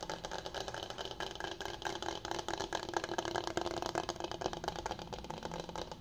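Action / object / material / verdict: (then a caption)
tap / bamboo cutting board / bamboo / none. Fingertips and nails tap and scratch the face and edges of a flat, solid, medium-sized bamboo cutting board with rounded corners, held upright. The result is a steady stream of quick, dry wooden clicks and rasping scratches, with a mid-range woody tone, bright scratchy detail and almost no low end.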